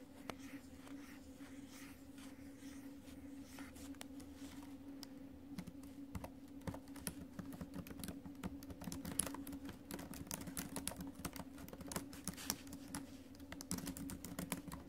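Fingertips and acrylic nails tap the small plastic chiclet keys of an ASUS laptop with a silver metal deck, which feels solid, in continuous typing. The keystrokes are quick, sharp clicks with bright edges and very short decay, getting denser and slightly louder toward the end over a faint steady low hum.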